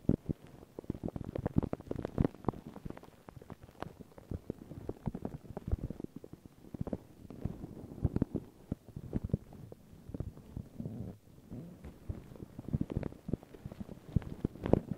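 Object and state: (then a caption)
Paper tissue over microphone, scratched. Long pink nails and fingertips scratch and rub a thin, crinkled white paper tissue stretched over a round microphone head. The result is a dense, continuous crackling and rustling made of many quick, dry clicks and scrapes, heavy in low and midrange tones with little high end.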